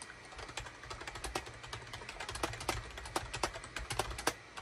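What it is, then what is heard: Plastic computer keyboard being typed on. A gray SHIPADOO K600 full-size wired USB keyboard with a hollow plastic case and cream, gray and orange plastic keycaps, resting on a desk mat, is typed on rapidly with the fingertips of both hands. The result is a quick run of short, bright plastic clicks and clacks, some louder than others, over a low steady hum.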